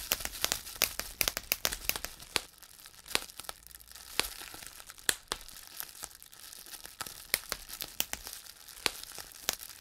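Clear plastic bubble wrap is pinched between fingertips, popping its small air-filled bubbles one after another while the sheet crinkles. Many sharp, bright snaps stand out over a steady crackle, clustered most thickly at the start and near the end. The pops die away almost instantly, with very little low-end weight.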